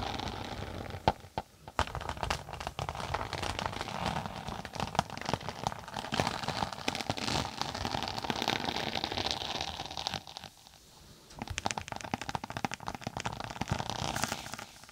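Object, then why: Tablet case with textured synthetic cover. Long nails tap and scratch across the textured floral synthetic cover of a closed tablet-size case held flat above the mic. Dense, crackly scratching and quick taps fill the clip with bright, rustling texture and a midrange body. The sound pauses briefly near the 10-second mark before resuming.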